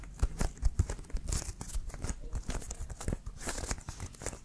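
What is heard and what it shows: Fingernails scratch and tap the white laces and leather cover of a brown Wilson American football, hollow and inflated and held in both hands. A quick, uneven run of dull low thumps mixes with dry, bright scratching and crinkly rasps, each tap dying away almost at once.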